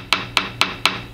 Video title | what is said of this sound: How To Do a Tap Test per VHA Service Bulletin SB33000-4Rx Balance Weight Receptacle Inspection | right in this area it went from a solid tone to a more flat buzzing like sound